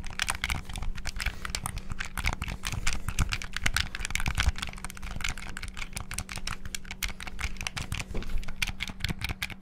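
The triggers and buttons of a black, hollow plastic Xbox-style gamepad are rapidly clicked with fingertips. A dense, continuous stream of sharp, short plastic clicks and taps plays throughout, with bright click edges over a low thumping body and a faint steady hum underneath.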